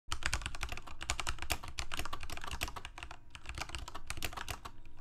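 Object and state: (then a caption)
Plastic mechanical keyboard. A Corsair K68 full-size mechanical keyboard with plastic keycaps, Cherry MX Red switches and a backlight sits on a desk and is typed on with the fingertips of both hands. Fast, steady keystrokes produce dense, bright clacks over a low, thumpy body, each dying away almost at once, with no pauses across the stretch of typing.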